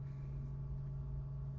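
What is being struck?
Nothing is struck.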